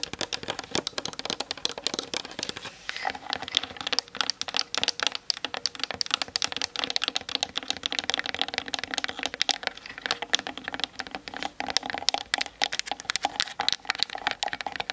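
Long nails tap quickly on both sides of the hollow plastic body of a Canon DSLR camera on a tripod, picked up by the camera's built-in mic. The sound is a dense, steady stream of dry, bright clicks with no ring and nothing in the deep low end, continuing for the full fifteen seconds.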